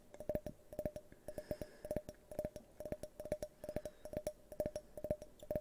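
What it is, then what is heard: Glass tumbler tapped with fingernails. An empty, hand-sized, hollow, tinted multicolored glass drinking tumbler, held tilted toward the microphone, is tapped with fingernails. It makes quick bursts of light, clicky taps, each with a brief glassy ring near 600 Hz and a bright, sharp edge. The taps fall in an uneven pattern and die away almost immediately.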